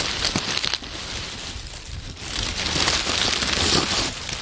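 Hands dig into, squeeze and crush a heap of dry brown oak leaves piled on a wooden table. A dense, bright crackling rustle is heard, with a brief quieter lull in the middle before the crunching swells again.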